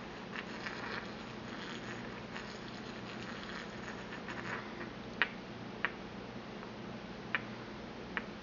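A porcelain pestle grinds around inside a small, empty white porcelain mortar held in the palm, making a soft, scratchy rasp with bright grit for the first few seconds. It then taps the bowl four times, and each tap is a short, clicky ping that stops almost at once.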